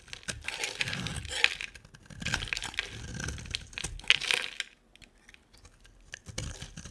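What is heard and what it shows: A utility knife blade carves and scrapes a solid, hand-sized, green-and-white striped bar of dry soap. The cuts make crisp, bright crackling and scraping sounds in several bursts, with a quieter pause before a final scrape near the end.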